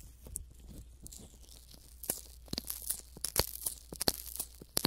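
Fingertips and thumbs rub, squeeze and massage a pair of hand-sized, soft, skin-toned silicone ear models coated with Vaseline and mounted around a binaural microphone. Close, moist sticky crackles and squelchy tearing sounds come in irregular bursts over a faint low hum, sharper and brighter after the first two seconds.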